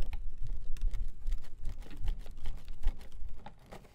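A hand-sized folding fan with white plastic ribs and a printed fabric or paper leaf is held open in both hands close to the mic while fingertips click and flick the ribs as it opens and closes. Quick, irregular dry clicks and papery rustles patter over soft low thumps, and the sound grows quieter toward the end.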